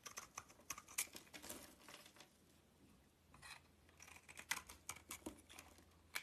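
A metal utility knife shaves flakes and curls off a solid red-purple DURU bar soap with a white interior, held in hand. Quick, crisp scraping and crackling strokes come in bright, dry bursts with short pauses between them, over a faint low hum.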